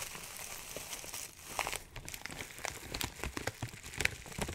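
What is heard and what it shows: A clear plastic zip bag, partly full of dry herbs, is crinkled and squeezed with the fingertips. It makes a steady, bright crinkling with many quick, dry crackles and short sharp snaps over a quiet low rustle.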